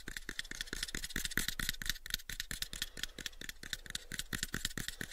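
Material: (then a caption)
Wood. A pale, unfinished, hollow wooden box about 7 inches on each side is tapped quickly on its sides with the fingertips. About 25 short, dry knocks come in a rapid, uneven run, each with a bright, woody click near 1.9 kHz and a dull low thump. Each knock dies away almost at once.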